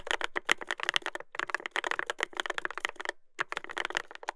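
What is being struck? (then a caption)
Mechanical keyboard with plastic keycaps. A Dolphin 2021 mechanical keyboard with a brass plate, Adelie switches and black-and-cream plastic keycaps, resting solidly on a desktop, is typed on with fingertips. Rapid, crisp clacking key presses with a bright midrange click and very short decay pause briefly near three seconds, then resume.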